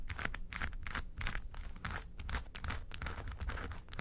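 Long nails scratch the sides and then the front of a small, hollow, yellow textured faux-leather makeup suitcase. The result is a steady run of dry, scratchy strokes with a low, hollow body resonance beneath bright rasping bursts.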